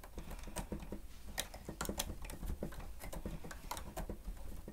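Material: Plastic.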